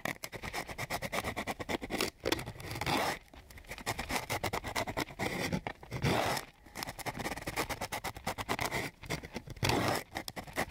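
A flat wooden stick is rubbed and scratched across a flat sheet of coarse sandpaper. It makes rapid, gritty scraping strokes with a bright, rasping texture, broken by a few short pauses.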